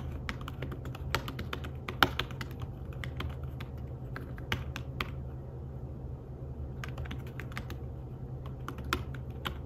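Fingertips with short nails tap across the flat, dark woven fabric-covered keys of a thin iPad Smart Keyboard-style folio keyboard. The soft, short clicking taps come in irregular bursts with a brief pause midway. A steady low hum sits underneath throughout.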